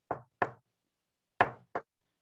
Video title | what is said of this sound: 한광대게임 004번 참가자 김준일교수님 - 구해줘 자취방!!!!! │ Korea Tourism College 한국관광대학교 | 이런 둔탁한 소리가 난다고 하면 벽이 콘크리트 재질입니다. 그렇기 때문에 방음에 조금 더 강할 수 있고요.